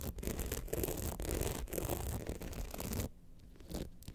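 Long nails of both hands scratch down the rhinestone-studded front of an upright, hollow rhinestone-covered clutch bag. A dense, continuous rasping with a heavy low body and a hollow resonance fills the first three seconds, then the scratching drops to softer, sparser strokes.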